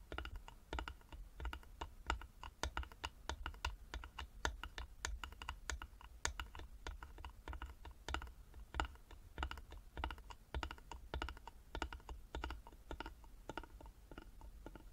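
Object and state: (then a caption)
Carved wooden box. Fingertips and nails tap on the front and sides of a small, closed, hollow carved wooden jewelry box lying flat. The taps are short, dry clicks in an uneven, continuous stream over a faint low hum. Each tap dies away almost instantly.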